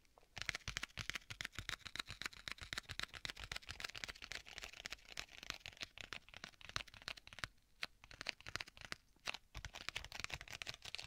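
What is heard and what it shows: Fingertips tap and scratch rapidly across the cover of a closed black leather folio tablet case with a strap. The result is a quiet, dense stream of dry, bright taps and scratchy crinkles with no ring, briefly thinning out around the eight-second mark before picking up again.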